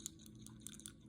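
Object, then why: Plastic ink cartridge with a metal ball inside. A plastic ink cartridge for a Platinum Preppy 03 fine-nib fountain pen, with a metal agitator ball at one end, is shaken so the ball rattles inside to agitate the ink. About five faint, sharp, high-pitched clicks sound over a low background hum, each stopping almost instantly.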